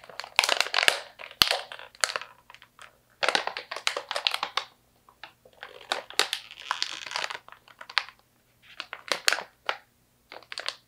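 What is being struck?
Plastic stand-up pouch partly filled with slivered almonds.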